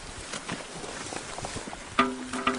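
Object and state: Stone that rings like metal.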